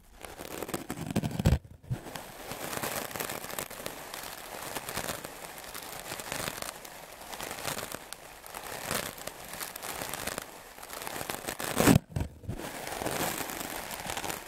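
A solid white melamine foam block, held in the hand, is scrubbed rapidly with the bristles of a wooden-backed clothes brush. The sound is a steady, dense crackling scratch with bright hiss. It is broken by two sharp louder scrapes, each followed by a brief near-silent gap.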